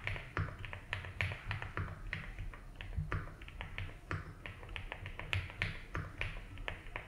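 Fingertips slowly type on a 75% mechanical keyboard with ABS keycaps in a light blue plastic case, producing a steady stream of short, bright clicking taps. Each keystroke dies away almost instantly, over a constant low hum in the background.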